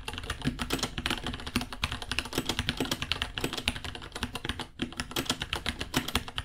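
Both hands type with their fingertips on a small white 66-key mechanical keyboard with Gateron Brown switches ($60), white plastic keycaps, a hollow case and pink underglow, resting on a white desk. A rapid, steady stream of short, crisp plastic clacks with a bright edge and a light low thock underneath runs throughout, each tap dying away almost instantly.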